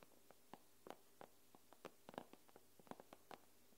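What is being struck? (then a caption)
Glass tablet screen tapped with long nails. Long nails tap and scratch on the glass screen of an iPad tablet. A quick, irregular series of soft, dry clicks with brief scrapes sounds over a low, steady hum; each tap dies away almost at once.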